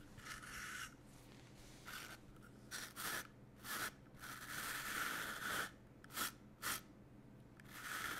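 Fingertips smooth and rub a large flat piece of black woven cotton fabric with a white grid pattern spread on a yellow table, then a small bristle brush with a green back is drawn across it. Soft, bright, scratchy rustling comes in repeated strokes over a faint low hum, with short sharper swipes near the end.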